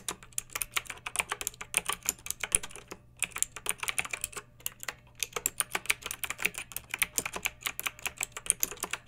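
Long fingernails type continuously on a pink backlit plastic mechanical keyboard with round keycaps. Rapid, bright clicky keystrokes come in dense bursts with brief pauses. A faint steady low hum sits underneath.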